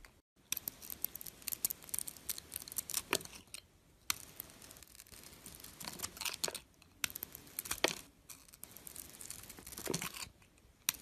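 A dark metal blade scrapes curls of silver glitter coating off a palm-sized bar of soap with a white core, held in the fingers. The strokes make bright, crisp, crackly scraping sounds in short bursts, separated by brief quiet pauses.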